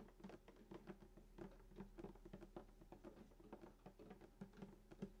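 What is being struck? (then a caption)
Wooden acoustic guitar top. Fingertips and short nails tap quickly on the wooden top below the bridge of a hollow sunburst acoustic guitar lying flat. The result is a fast, uneven patter of soft, short taps, each with a brief hollow, low body resonance and little bright content.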